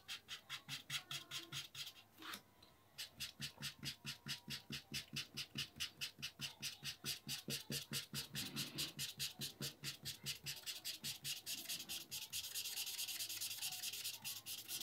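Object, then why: Felt-tip marker on drawing paper over a wooden board. A black felt-tip marker scrubs repeatedly over flat white drawing paper resting on a wooden board, filling in dark shaded stripes with quick rubbing strokes. A steady, fast run of bright, dry scratching strokes is heard, with a short pause near the start. Toward the end the strokes blur into a denser, continuous hiss.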